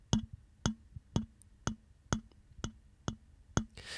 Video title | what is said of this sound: The World Needs More Mic Videos! - Zoom ZDM-1 vs Rode Procaster | I'm using about the same strength, so you can hear that it resonates through the entire microphone.